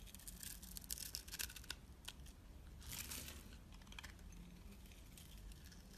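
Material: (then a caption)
Soap. A utility knife blade scrapes and cuts thin slivers from a palm-sized, rounded rectangular pale pink soap bar held in the hand. The result is quiet, bright, crisp shaving and scraping strokes in uneven bursts, strongest early and around the middle, over a steady low hum.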